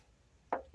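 Two sharp knocks on a car's steel lower door sill, or rocker panel, give short, mid-pitched taps around 700 Hz that die away quickly. The panel is judged original and never repaired, since this area is often rusted or welded.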